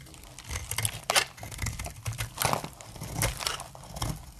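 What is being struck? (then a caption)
Soap bar shaved with a metal blade. A metal blade shaves dry curls from the edge of a solid, dry light brown soap bar with a stamped face. Repeated crisp, crackling scrapes come in short bursts, bright and dry with almost no ring, over a faint low rumble.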